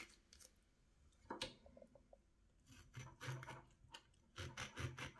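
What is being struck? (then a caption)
Orange rind scraped by a small steel knife. A small steel knife scrapes and slices the rind from a partly peeled orange held in the hand, cutting it away in strips that pile up on a plate. Short, irregular rasping strokes come in bursts, each a quick bright scrape with a soft low thud underneath, separated by quieter gaps.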